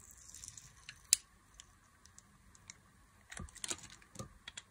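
A solid bar of dry white soap, held in the hand, is scored with fine cuts from a box-cutter blade. Quiet, bright, dry scratching clicks come in irregular bursts with no ringing, led by one sharp louder snick early on and a cluster of scrapes near the end.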